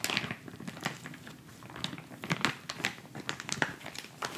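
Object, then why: Plastic instant cold pack pouch. A white plastic instant cold pack pouch is folded and handled, crinkled and scratched with fingers. The result is a steady run of quick, dry crinkles and scratchy rustles with bright, sharp crackling bursts scattered throughout and very little low end.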